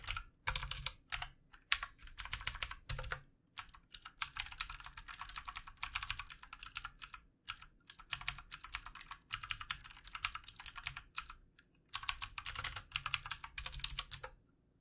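Fingertip typing with both hands on a full-size backlit plastic mechanical computer keyboard with plastic keycaps. Bursts of rapid, bright, dry key clicks come in runs separated by brief pauses, with little low-end thump and almost no ring after each stroke.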